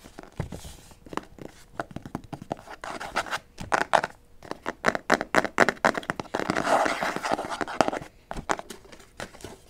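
Long nails rapidly tap and scratch the flat cover of a white cardboard album box (BE), about notebook size and held upright. The result is a fast, uneven run of dry, papery clicks and scrapes, centered in the midrange with little low end. Each tap dies almost instantly, with a denser scratching stretch near the end.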